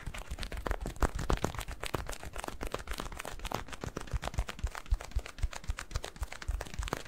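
A yellow latex balloon filled with granular cat litter is squeezed and kneaded with fingertips. It gives a dense, irregular stream of short gritty crunches and crackles, about four a second, with a rubbery low thump under the sharp grains.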